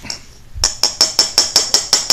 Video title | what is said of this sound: Dollar Tree Luminaire LED bulb 60w Teardown / Dissection BP5131D MB10F | now that's plastic good that's plastic